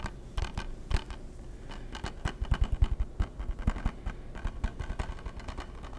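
A hollow, hard plastic PS3 game case is tapped on its face and spine with fingertips and nails. The result is a rapid, irregular series of short, dull tapping and clicking sounds with a deep low thump, over a faint steady background hum.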